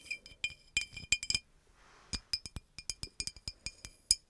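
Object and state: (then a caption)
Glass bottle tapped with fingernails. Long acrylic nails tap the body of a hollow green glass bottle with a red cap, tilted near the mic. Quick bright clinks ring out in uneven bursts, each dying away almost instantly with clear glassy overtones and a short quiet gap in the middle.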